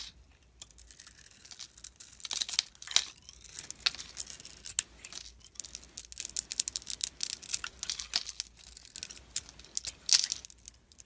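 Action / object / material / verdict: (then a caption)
scrape / soap bar carved with a blade / soap / none. A utility knife blade carves and scrapes shavings off a solid blue glittery Radox soap bar with a white core, held in the hand. The result is a quiet run of crisp, bright scraping and crackly cutting strokes, almost entirely high-pitched with hardly any low end. Each stroke is short and dry, with no ring.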